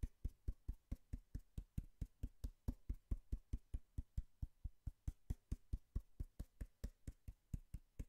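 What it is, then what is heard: Cardboard box, hollow. A small, worn, brown corrugated cardboard box with torn flaps is held in hand and tapped and scratched with long fingernails. About 37 short, dull, hollow knocks fall in a quick, fairly steady rhythm over eight seconds. Each knock is a deep, low thud that dies away almost at once, with a faint bright tick on top.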